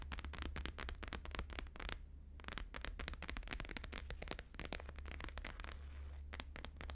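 Fast fingertip and nail tapping on a thin, flexible, flat square sheet of plastic-laminated holographic paper lying on a fur rug, mostly near its bottom edge. It makes a dense stream of crisp, crackly taps with a bright edge, briefly easing off just after the two-second mark. A steady low hum runs underneath throughout.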